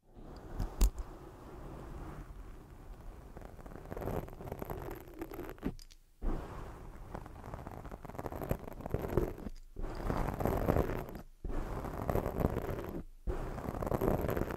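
Long jeweled acrylic nails scratch and rub all over a soft, porous black foam windscreen covering a microphone. The result is a dense, muffled rustling and scraping that is heavy in the low end, with a sharp click near the start. The texture runs continuously, broken by a few brief silent pauses.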